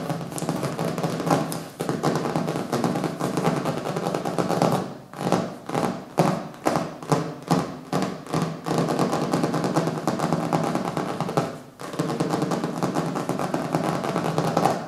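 Fingertips and nails tap and scratch across the colorful printed cover of a small, solid hardcover book resting on a wooden table. A steady, dense scratchy texture with soft low thumps runs throughout. It briefly drops out near five seconds and again near twelve, with a stretch of separate rhythmic bursts in between.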